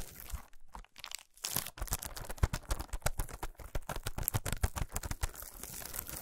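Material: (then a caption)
Aluminium foil. A solid chocolate bar wrapped in shiny aluminum foil, resting on a towel, is scratched and tapped with long nails. Dry, crinkly scratches and quick foil taps come in short bursts with brief pauses early on, then settle into a dense, steady run of crackling clicks with bright, papery edges.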